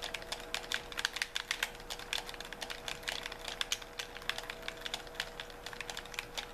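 Thumbs and fingertips repeatedly tap the buttons and triggers of a white handheld plastic gamepad with a hollow shell. The taps come as a rapid, irregular stream of short, bright plastic clicks that die away almost instantly. A faint steady tone hums underneath throughout.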